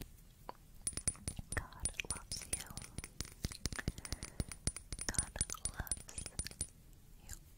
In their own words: Tapping On A Glass Bottle